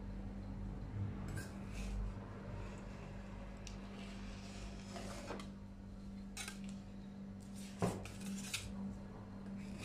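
A metal spatula is driven along the surface of a large round stainless steel cold plate to roll up frozen ice cream. Metal-on-metal scraping and light clinks rise over a steady low hum. A sharper clink stands out near the end.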